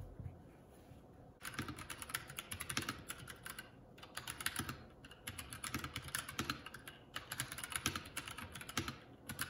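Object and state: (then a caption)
Plastic mechanical keyboard. A Keycool K84 75% mechanical keyboard with a solid body, grey and black plastic keycaps and a red Esc key, sitting on a wooden desk, is typed on continuously with the fingertips of both hands. After a quiet first second, bursts of rapid, bright clacky keystrokes with low thocks beneath them follow one another, broken by a few short pauses.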